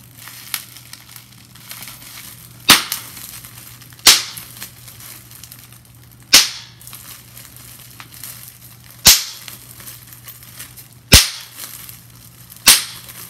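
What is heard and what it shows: A sheet of clear plastic bubble wrap has its bubbles pinched and popped with fingertips and nails. Six loud, sharp, bright pops stand out, each dying away quickly. Soft plastic crinkles and light taps fill the gaps between them.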